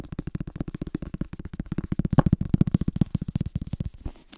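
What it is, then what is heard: Paperback book. Fingertips rapidly tap and scratch the paper cover and page edges of a yellow-orange paperback book, then open it and handle the pages. The result is a fast, uneven run of soft, dull, low thumps with almost no brightness, each dying out instantly. The tapping grows slightly firmer midway and thins out toward the end.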